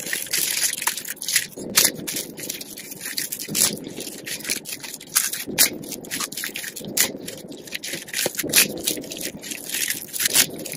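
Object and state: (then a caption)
Dry soap curls. Fingers with long pink nails crush and crumble thin, dry purple and green soap curls and flakes on a dark surface. The result is a steady stream of bright, crisp crackling and crunching, with louder crunches standing out roughly every second or two.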